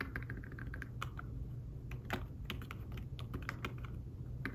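Fingertips with short nails type on an iPad Smart Keyboard-style folio keyboard with thin, flat, dark woven fabric-covered keys. It makes a steady stream of soft, muffled taps with brief bright clicks, over a constant low hum.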